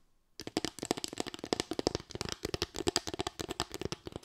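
Long white nails tap and scratch quickly across a small, light bamboo board with raised slats. After a brief silence, a rapid, uneven run of dry, sharp clicks and scrapes follows, bright and crisp with almost no ring.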